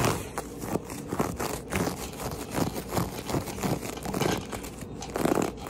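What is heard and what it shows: Fingertips and nails scratch and rub across a low-pile, very matted, speckled brown and beige carpet on a flat floor. Quick, dry scraping strokes come one after another, each with a soft fibrous crunch and little ring. The sound is mostly low-mid, with only faint high hiss.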